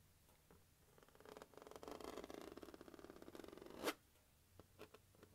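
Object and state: Plastic carrying case.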